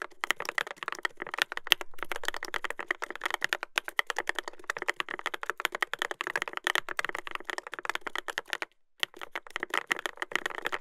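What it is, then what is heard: Mechanical keyboard with plastic keycaps. Fingertips type continuously on a Dolphin 2021 mechanical keyboard with a brass plate and plastic keycaps. The result is a dense stream of short, crisp clicks and clacks with a bright top, briefly pausing near the nine-second mark before resuming.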